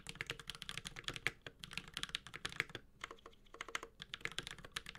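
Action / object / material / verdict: tap / mechanical keyboard with plastic keycaps and metal case / plastic / none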